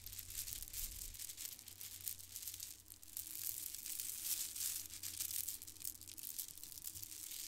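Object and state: Plastic faux-pearl bead strands.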